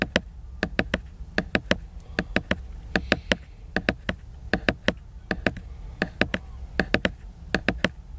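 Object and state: Fingertip taps on a glossy laminated book cover.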